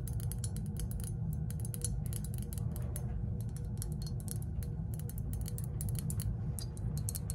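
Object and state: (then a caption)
Glazed ceramic lantern figure. A hand-sized, hollow, green glossy glazed ceramic lantern-shaped figure is held in both hands and tapped and scratched with long acrylic nails. Quick, bright clicks and scratchy ticks come in dense bursts over a steady low hum.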